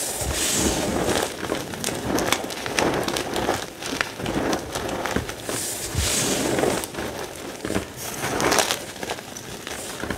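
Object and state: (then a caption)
Crushed gym chalk. Both hands scoop, squeeze and crush a dry heap of crumbled pale green-white gym chalk chunks with the fingertips. The result is dense, continuous crackling and crunching with bright, gritty grains, swelling and easing as handfuls are pressed.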